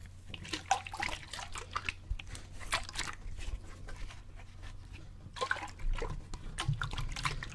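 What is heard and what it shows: A clear plastic bottle partly filled with water is tilted overhead and shaken by hand, making the water slosh in quick, irregular bursts. The splashes are bright and wet, with short gurgles and drips, over a steady low hum.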